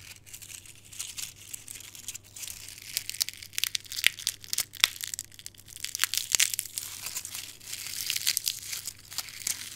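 A bare hand crushes and crumbles a handful of brittle, dark red dried rose petals between its fingers and palm, above a pile of petal fragments. The result is a dense, bright crackling and crinkling, scattered with many sharp, dry snaps that die away instantly.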